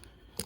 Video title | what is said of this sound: 91 GMC Jimmy SLE 4.3L | if you shake it around you can hear it cycling still but it just had a lot of oil and everything in it